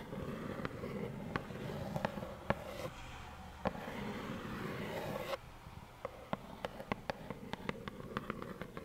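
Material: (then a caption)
Cardboard. Long nails tap on a small, hollow plaid cardboard tissue box with tissues inside, making a series of sharp, dry clicks with a hollow mid-range tone. For the first five seconds a steady scratchy rustle runs beneath the taps, then it drops away, leaving quicker, crisper taps over a quiet background.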